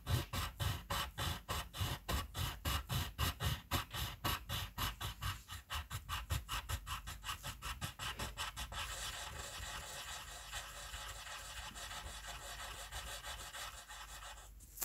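The short tip of a red colored pencil, held close by the fingers, scratches quickly back and forth across a white paper coloring sheet. It makes a rhythm of distinct, dry, bright strokes that speed up and then blend into a steady, continuous hissing scratch until the end.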